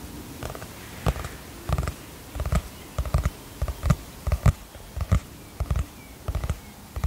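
Long fingernails tap the cover of a teal cardboard hardcover notebook held upright. The taps are soft, dull and very short, sitting low in pitch, and they come in irregular pairs and small clusters against a faint hiss.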